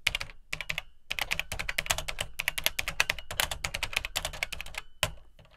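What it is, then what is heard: Plastic home computer keyboard being typed on. Fingertips type on the dark plastic keycaps of an Atari 800XL home computer, a hollow plastic case. Quick, bright, clicky key taps come in rapid bursts with brief pauses, each with a short, dull low thump underneath and almost no ring.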